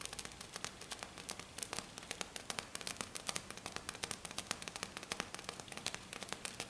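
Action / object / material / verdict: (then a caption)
scrape / glitter-covered flat sheet / glitter / none. One hand with black nails taps and scratches very fast on a flat sheet covered in silver glitter. The result is a dense, bright crackle of short, dry clicks that stop almost instantly, with a gritty scratching hiss between them and very little low end.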